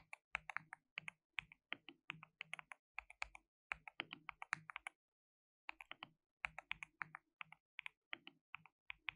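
Fingertips type rapidly on a white RGB-backlit mechanical keyboard with plastic keycaps, a compact layout and a hollow case. The result is a steady run of sharp, bright, dry clacks that stop for a brief pause near the middle. Each keystroke dies away almost instantly with very little low end.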